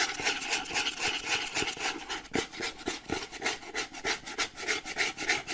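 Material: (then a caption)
Cardboard. A printed cardboard charger box is turned in the hands while fingernails rub and scratch its plain kraft-brown side panels. A fast, uneven run of dry, bright rasping strokes repeats about three or four times a second, with almost no low end and no ring after each stroke.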